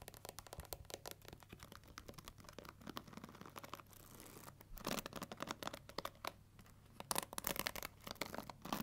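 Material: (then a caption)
Plastic. Long nails scratch and flick across the black plastic pins of a pink plastic paddle hair brush set in a rubber cushion. The result is a rapid run of quiet, dry, bright ticks and scratchy rasps with no ring, louder bursts near the middle and end, and a short breathy hiss partway through.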